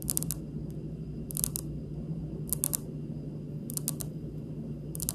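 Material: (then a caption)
Stone. Long pink almond-shaped nail tips tap lightly on a large, solid, polished, speckled granite countertop close up, making quick, dry, bright clicks with almost no ring. The taps come in short bursts about every second over a steady low hum.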